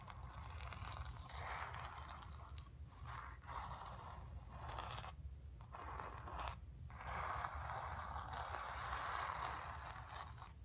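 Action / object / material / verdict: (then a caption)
scrape / painted stretched canvas / painted fabric / none. Long nails and fingertips scratch and rub across a painted stretched canvas lying on carpet. The result is steady, dry scraping bursts centered in the midrange, broken by a few brief pauses, over a constant low rumble.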